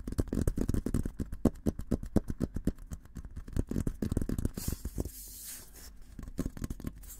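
Fingertips tap rapidly and unevenly on the sides and rim of a hollow, olive-green painted steel military helmet, making dull, low, hollow knocks with very little ring. Midway the tapping gives way to a soft, bright scratching hiss across the surface before a few more light taps.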